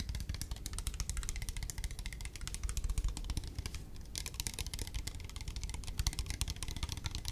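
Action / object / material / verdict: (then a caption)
tap / plastic spray bottle / plastic / none. A hand-sized, clear plastic spray bottle with a black trigger head, hollow and partly filled with liquid, is held in both hands and tapped with long fingernails. The rapid, typing-like clicks are short and bright over a steady low rumble, with a brief pause just past the midpoint before the tapping resumes.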